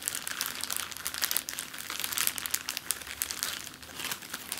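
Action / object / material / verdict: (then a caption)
scrape / plastic zip-lock bag / plastic / none. An empty clear plastic zip-lock bag lying flat on a table is crinkled and scratched with the fingertips and long nails. The result is a dense, steady stream of bright, crisp crackles and rustles with almost no low end.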